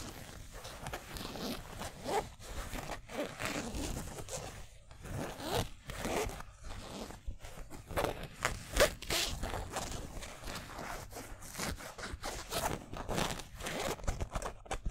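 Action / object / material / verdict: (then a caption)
scrape / polyester mesh jersey with stitched letters / polyester / none. Fingertips and nails scratch and rub the front of a yellow San Francisco basketball jersey made of polyester mesh with twill letters. The result is a steady run of short, dry, rasping scratches, like a zipper being worked, with brief gaps between strokes and a bright, hissy texture.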